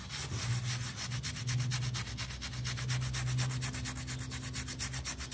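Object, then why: Small wet pile rug scrubbed with a plastic toothbrush. A small, round, wet miniature pile rug on a tile floor is held down with fingers and scrubbed with a yellow plastic toothbrush. Rapid, rhythmic bristle strokes make a bright, rasping swish over a steady low hum.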